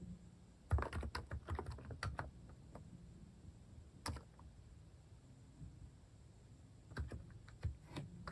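Fingertips type on the left-side keys of a compact keyboard with plastic cat-shaped keycaps, a quiet, muffled clatter of soft, low-weighted key presses with a few brighter clicks. Keystrokes come in a burst near the start, a single press around the middle, and another short burst near the end, with gaps of low background between.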